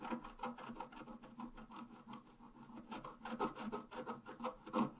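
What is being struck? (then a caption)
Black-coated scratch-art paper card scratched with a wooden stylus. A pointed wooden stylus scratches a flat A5-size black-coated scratch-art card lying solid on a table, making continuous scratching and filling-in strokes. The quiet, dry, rasping strokes repeat rapidly and unevenly, about three per second, with a papery midrange grit and no ring after each stroke.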